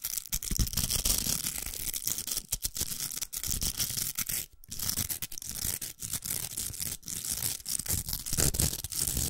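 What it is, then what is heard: Plastic velcro hair roller being scratched. Long nails scratch the hooks of a large, hollow, pink plastic velcro hair roller. The result is a steady, bright, crackly rasping with a low rumble underneath, broken by frequent brief pauses as the strokes change.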